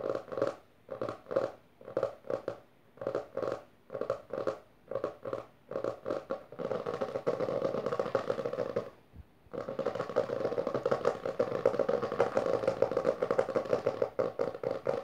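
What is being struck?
Hardcover book cover.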